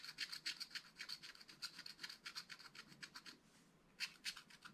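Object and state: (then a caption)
Scratch-art paper pad being scratched. A wooden stylus scratches hatching strokes on the trunks of a drawing on a spiral-bound scratch-art pad of black-coated card lying flat. Quick, dry, bright scratches repeat in a fast, uneven rhythm, with a short quiet pause near the end before a few more strokes.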